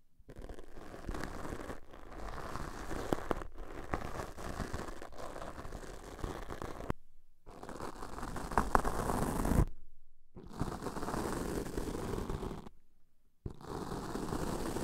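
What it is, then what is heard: Foam microphone windscreen being brushed. A plastic-bristle mascara wand with a blue handle, held in fingers with long nails, brushes and scratches the black foam windscreen on the right microphone. Dense, crackly rustling and scraping comes in long bursts, broken by brief silences around seven, ten and thirteen seconds. The sound is close and muffled, weighted toward the low end.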